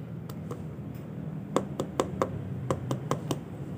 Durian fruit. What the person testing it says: puk puk puk puk tandanya di dalam sini sudah tuat